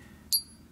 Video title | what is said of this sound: Avoid These Fake Silver Bars! More Testing, We show you how! | doesn't seem to resonate as much and it's just kind of dull